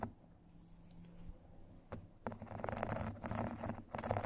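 Two thin metal sticks tap and scratch the surface of a rectangular foot file with a white foam face and a purple grit edge, lying on a table. A quiet start gives way to a few soft, dull taps, then a dense run of rough, gritty scratching that stays low and muffled with almost no bright edge.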